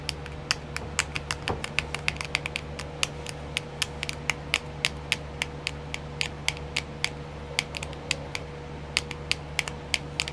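Long nails tap and scratch a small, round, clear plastic nail art compartment wheel that is filled, producing about 46 quick, sharp clicks. The taps are bright and dry with no ring. They sit over a faint, steady low hum.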